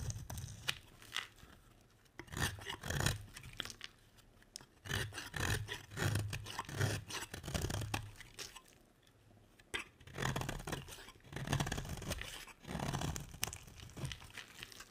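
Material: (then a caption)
Soap. A utility knife blade scrapes and carves curls off the edge of a solid green bar of dry soap. Repeated raspy, crunchy scraping strokes come in bursts, each with a low thudding body and a bright scratchy edge. There are brief quiet pauses near the 2- and 9-second marks before the carving picks up again.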